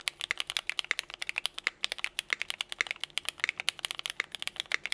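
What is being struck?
Mechanical keyboard, plastic keycaps.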